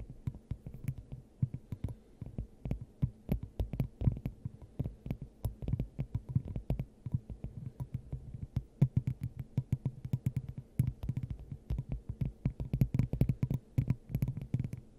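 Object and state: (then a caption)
Glass dome. Long acrylic nails of both hands tap on a clear, hollow, hand-sized glass dome fitted over the top of a microphone. The result is a rapid, continuous stream of short, dry taps: hollow, throbbing low thumps with a hum near 117 Hz, topped by faint clicky ticks that stop almost instantly.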